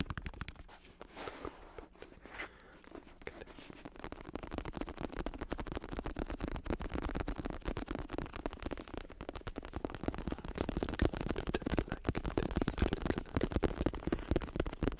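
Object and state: Vinyl-covered bicycle saddle.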